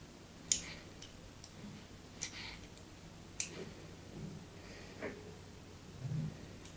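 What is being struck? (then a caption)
Bar of soap cut with a metal blade. A metal blade scores a solid white bar of soap held in hand, already cut in a crosshatch pattern. Four sharp, bright clicking scrapes stand apart, each dying away almost at once, followed by a softer, duller rub over a quiet low hum.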